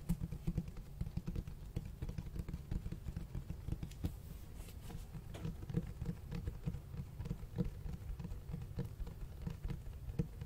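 Fingertips tap and scratch the cloth-textured cover of a large black hardcover book. The result is a quiet, dense patter of soft, dull taps with a low, muffled body, each tap stopping almost at once, mixed with faint scratching.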